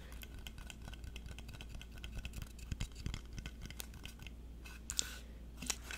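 A small solid painted wooden block sign with a patterned top edge is held close, scratched and tapped on its face and edges with fingernails, and turned in the hands. Dense, dry scratching and light clicking sounds continue throughout, with a few sharper, brighter taps near the end over a low steady hum.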